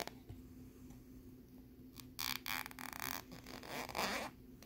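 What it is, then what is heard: Plastic lenticular card scratched. Fingernails scratch along the ridged surface of a flat, thin plastic lenticular picture card with a bear scene, held on a wooden board. Bursts of bright, raspy scratching stand out over a quiet background with a faint steady hum, the loudest strokes coming toward the end.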